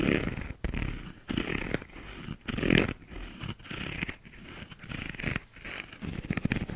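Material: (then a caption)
Paper, plastic. A small, hollow, empty paper cup with a paper/cardboard inner wall and a blue, bumpy plastic outer sleeve is held in both hands and scratched with fingernails. Bursts of dry, raspy scratching come in uneven strokes with short pauses, each carrying a hollow low body under a bright, papery hiss.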